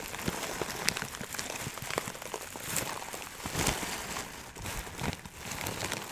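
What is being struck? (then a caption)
Plastic bag of dried herbs. Fingertips pinch and rub a clear plastic bag full of small dried herb granules through the plastic. The result is a steady, bright crackling patter like rain, with scattered sharp ticks and crinkles over a soft rustle.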